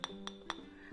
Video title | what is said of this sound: Спостереження за хлібом | буде дзвінкий звук тому що хліб став дуже твердим